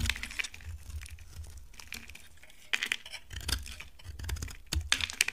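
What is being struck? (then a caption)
Laundry soap bar scraped with a blade. A utility knife blade scrapes a dry, solid brown laundry soap bar, shaving off curls. Crisp, bright scraping and crackling come in short bursts and sharp ticks over a soft low rumble, with several louder clicks near the end.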